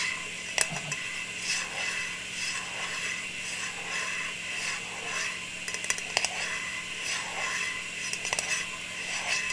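A round metal tin lid, held in the hands with its silver underside facing up, is tapped and scratched with long nails. Bright, scratchy rasping runs throughout, broken by a few sharp metallic taps with a brief ring around 2.7 kHz.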